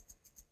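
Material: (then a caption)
Metal. A metal Rio 2016 Paralympic gold medal is shaken, and the tiny steel balls inside rattle in three quick, bright bursts. The 28 balls inside the gold medal give it a sound distinct from silver and bronze, so visually impaired athletes can tell which medal they received.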